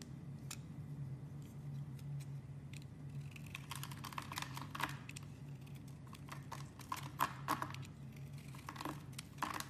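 A utility knife blade scrapes and carves the embossed face of an oval, solid blue marbled soap bar held in a hand with long dark-painted nails. Short, crisp scraping and clicking strokes, some bright and sharp, come in quick bursts over a steady low hum. The strokes grow denser and louder toward the end.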